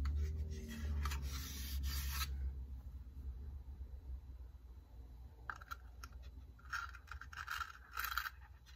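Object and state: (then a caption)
Wooden incense box. Fingertips with dark painted nails rub and scratch along a long, hollow wooden incense box with a perforated lid and carved grooves, held in hand, and handle the lid while incense is placed inside. Bright, dry scratching bursts are heard first, then a quieter stretch with faint shuffling. The scratching returns in clustered strokes with a papery midrange rasp over a steady low rumble.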